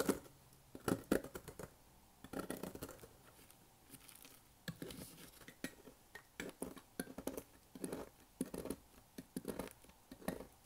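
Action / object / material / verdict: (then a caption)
scrape / soap shavings / soap / none. A bare hand presses and crushes a pile of loose, brittle, dry green and white soap shavings on a white surface with its fingertips. It makes quiet, dry crunching and crumbling crackles in irregular bursts, separated by brief near-silent gaps.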